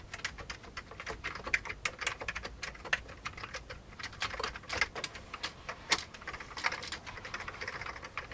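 Fingertips of both hands type steadily on an old beige plastic computer keyboard. The result is a fast, irregular stream of short, dry, bright key clicks centered around 2 kHz, with little low end. Each click dies away almost instantly.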